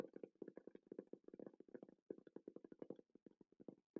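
A Rode wireless microphone case is tapped in a quick, steady run of soft, short taps with a dull midrange knock around 500 Hz. The taps die away almost instantly, with one brief pause near the two-second mark. The case sounds less hollow than a pencil case.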